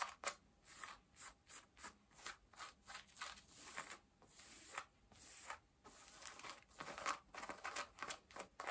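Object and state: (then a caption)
Denim jeans scratched. Long nails scratch pale yellow denim jeans at the back pockets and waistband. The result is a steady series of short, dry, raspy strokes with bright fabric texture and almost no low end, each fading quickly between gaps.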